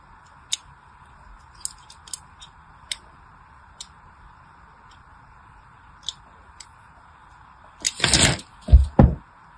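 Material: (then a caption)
Soap. A solid, hand-sized pink soap bar held in one hand is scored with a small pointed blade that cuts shallow lines into its surface. Sparse, short, crisp ticks and light scratches sound over a steady mid-range hum. Near the end, louder, longer bright scraping strokes follow in close succession.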